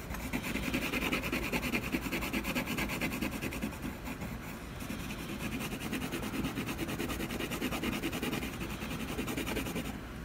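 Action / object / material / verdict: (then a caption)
scrape / colored pencil on a canvas panel / canvas / none. A colored pencil rapidly hatches across the textured surface of a solid canvas panel, making a continuous dry, scratchy rubbing with a bright, gritty edge. The quick back-and-forth strokes run steadily and blur into one another throughout, easing slightly around the middle before picking back up.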